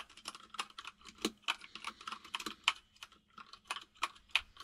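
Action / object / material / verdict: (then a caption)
tap / plastic mechanical keyboard keys / plastic / none. Both hands type with their fingertips on a compact mechanical keyboard with white and grey plastic keycaps. A quick, uneven run of bright, clicky key taps, each short and dry with almost no ring or low end.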